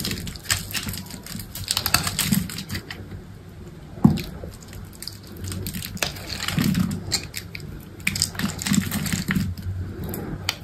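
A utility knife blade cuts cubes into a solid, hand-sized green soap bar and scrapes them off. Dense, crisp crackling scrapes and cutting ticks run throughout over a low, soft rumble, with a sharper snap around the four-second mark and brighter bursts of scraping later on.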